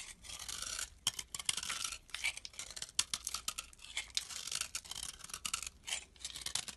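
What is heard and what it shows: A thin remaining piece of solid tan bar soap, held in fingers, is scraped with a metal blade. The result is a quiet, bright, dry scratching of short rasping strokes that come in quick bursts and end almost instantly, with nearly nothing in the low end.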